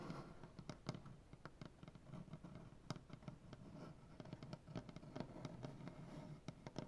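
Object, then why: Maple butcher block tabletop. Fingernails painted black tap and scratch on a solid maple butcher block tabletop with both hands, working near a crack in the wood. Quick, sharp taps ring out over a steady low, rustling scratch, each tap fading almost at once.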